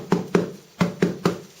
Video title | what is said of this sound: Pain au levain de 1kg cuisson vapeur(2), de Henri Granier et opain.com | ça sonne creux, hein, c'est bon. Donc là, c'est cuit.